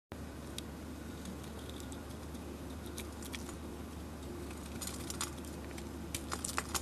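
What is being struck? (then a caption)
Bar of soap shaved with a metal blade. A metal utility blade scrapes and shaves white soap from the side of a solid, palm-sized oval soap bar painted glittery black with a Leo sign, held in the hand. Soft, crisp scraping ticks and bright shaving scratches sit over a steady low hum, growing denser and sharper toward the end.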